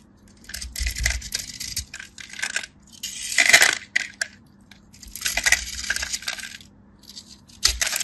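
A craft knife blade shaves, cuts and scrapes crisp flakes from a solid pale yellow dry bar of soap with a powdery starch coating, held in the hand. Bursts of dry, bright, crackly scraping rise and fade, with sharp snapping cuts and faint low thuds beneath. Each cut dies away quickly with almost no ring.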